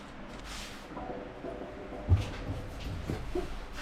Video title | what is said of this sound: FREE COLEMAN LANTERN ! I'm giving away this lantern when I hit 1000 subscribers. READ DESCRIPTION | Nothing moves or rattles at all when you shake it